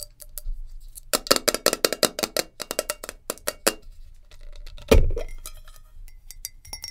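Long nails tap rapidly on a glass jar with a lid, producing a quick run of bright, short clinks with almost no ring. After a brief pause there is one louder, duller knock, followed by lighter scattered taps.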